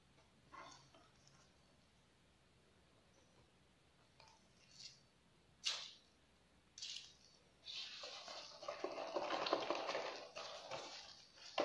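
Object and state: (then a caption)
Cardboard snack box. A small, closed, apparently full printed cardboard box of Collon biscuits is held and turned in black-gloved hands above an ice cream pan. A few quiet, separate fingertip taps give short, dry knocks. The sound then builds into continuous, brighter scratching and rubbing against the cardboard.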